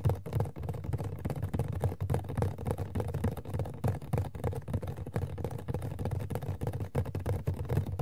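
Fingertips and long nails tap quickly on an empty, small, hollow Sailor Pluto Funko POP cardboard box lying on its back. The taps form a dense, uneven patter of soft, dull, hollow thuds, mostly low with almost no high end, each dying away quickly.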